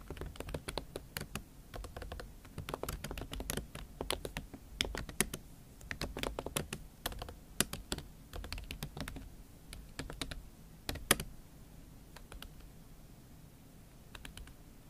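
Fingertips and long acrylic nails type on a MacBook Pro keyboard covered with a pink silicone skin. The result is a steady, quiet stream of quick keystrokes: soft, muffled low thumps mixed with bright, sharp nail ticks that stop almost instantly. The typing thins out toward the end.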